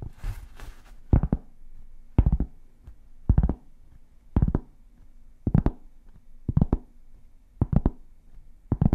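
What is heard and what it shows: A large, solid, flat round cork board is held in front of the microphones and scratched and tapped with long painted fingernails. A brief bright scratching rustle opens the clip, followed by clusters of quick, dull, low tapping thuds about once a second. Each tap dies away almost instantly with no ring.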